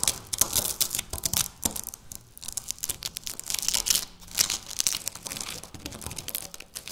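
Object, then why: Wafer biscuit. Several pieces of dry, hollow-layered wafer biscuit on a stone countertop are broken and crushed by fingertips with long natural nails. The result is a rapid, dense string of crisp, bright crunching and tearing snaps with almost no low end and no lingering ring.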